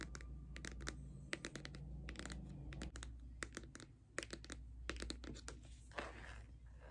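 Long nails tap the edge and front of a pink Too Faced cardboard eyeshadow palette held at an angle, making a rapid run of sharp, bright, dry clicks that die away almost instantly. A steady low hum sits underneath, and a brief scratchy brushing sound rises near the end.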